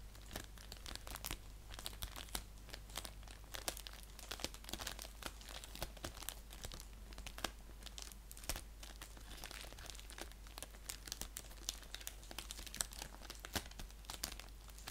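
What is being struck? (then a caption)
Padded paper mailer envelope with plastic end. An orange padded paper mailer envelope lies flat while fingers crinkle and scratch at its clear plastic end. Dense, crisp crackles and brief scratchy bursts come in quick, uneven succession, with a steady low hum underneath throughout.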